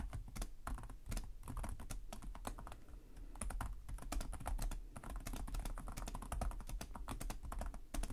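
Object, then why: Plastic laptop keyboard keys. Both hands type rapidly with their fingertips on the plastic chiclet keys of a black laptop set in a hollow chassis. The result is a steady stream of quick, short, dry tapping clicks with a dull low thump beneath them.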